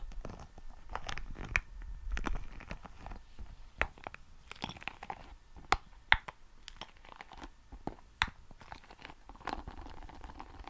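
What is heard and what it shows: A small red soft rubber spiky ball is squeezed and rubbed between fingertips close to the microphone. Quiet, irregular crinkly crunches and short squeaky taps come with sharp bright peaks and a faint squeaky tone near 2 kHz.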